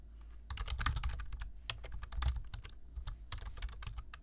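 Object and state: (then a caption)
Plastic computer keyboard being typed on. Fingertips of both hands type continuously on a black plastic computer keyboard with low-profile keys. Quick, irregular clicky taps with bright, dry transients sit over a low thump, and the taps come in dense bursts with brief pauses between them.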